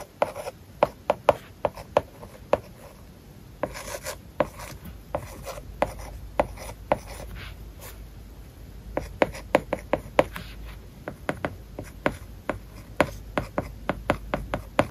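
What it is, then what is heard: Stylus writing on a tablet with matte paper-like film. A hard plastic-tipped stylus held in the fingers writes words on an iPad Air lying flat, its glass screen covered with a matte plastic paper-like film. Soft, papery scratching strokes are punctuated by dozens of short, sharp clicks as the tip taps and lifts, each dying away almost instantly over a faint steady hiss.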